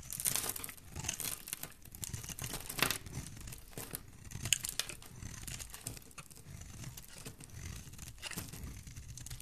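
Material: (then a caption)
Soap. A solid green bar of soap is held in the hand while chunks are cut off it with a metal blade, making a steady run of dry, crisp scraping and crumbly crunching with bright, hissy edges over a soft low rumble. The cuts come in irregular strokes, with a few sharper crackles standing out.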